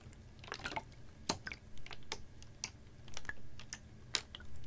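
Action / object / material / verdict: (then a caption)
tap / plastic water bottle with water / plastic / none. A capped, clear ribbed PET water bottle about half full of water is tilted, tapped and squeezed with fingernails. Short, bright, irregular clicks and crinkly taps come over soft water movement and a steady low hum underneath.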